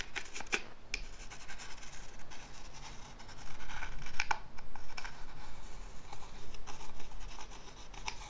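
Fingernails scratch and rub quickly along the carved surface of a small, hollow carved wooden box with brass inlay, held up beside the mic. The result is an irregular stream of dry, bright scratching bursts with a few sharper ticks, over a steady low rumble.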